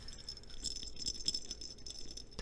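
A soft cotton baby doll with polyester fill, a gift for a sister, is shaken, and a bell hidden somewhere inside, in either the head or the ear, gives a quiet, continuous high jingling rattle. The jingling confirms the bell is there, though where it sits cannot be told.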